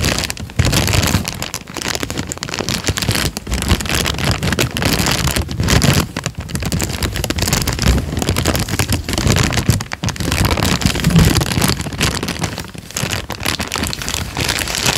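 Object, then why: Thin paper sheet. A thin peach paper sheet is held up in both hands and torn down the middle, then crinkled with the fingers. Continuous dense crackling and rustling fills the clip, with a strong low body and bright crisp edges. Brief dips in the loudness mark pauses between crinkles.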